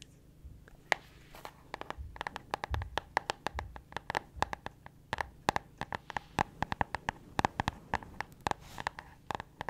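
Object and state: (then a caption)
Spiral-bound cardboard notebook. Long acrylic nails tap and scratch on the cover of a small pink hardcover spiral-bound notebook with a pink cardboard cover, held in both hands. A rapid, uneven series of sharp, dry clicks with a bright tick near 2 kHz is heard, mixed with brief scratchy brushes and a soft low rumble beneath. Each tap dies away almost instantly.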